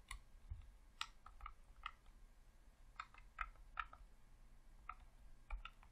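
Thumbs rapidly click the sticks and face buttons of a hollow red plastic Xbox controller. About thirteen short, dry plastic clicks with a bright, hard edge sound in quick, irregular succession over a soft low background hum, each dying away almost instantly.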